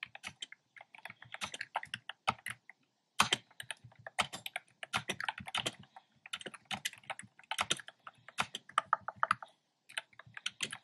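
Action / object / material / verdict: tap / plastic keyboard with round plastic keycaps / plastic / none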